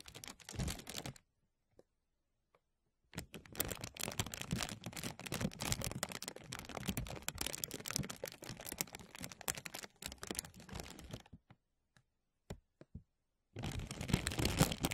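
Fingertips pinch and crinkle a thin translucent plastic bag draped over a mesh microphone, giving dense, bright, crackling rustles with a full low thump from the film brushing the mic. The crinkling comes in bursts: a short one at the start, a long busy stretch in the middle, a few isolated ticks, and a final burst at the end, with silent pauses between.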